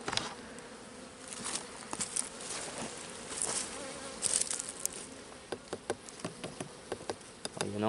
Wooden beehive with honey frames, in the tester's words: ça sonne plat un peu partout